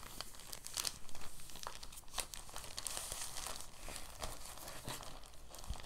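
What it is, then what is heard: Crinkled plastic bag. A clear, thin, empty plastic bag is gathered and crinkled between the fingers and thumbs. It makes a quiet, steady stream of soft, bright crinkles and small crackles that runs unbroken for about six seconds.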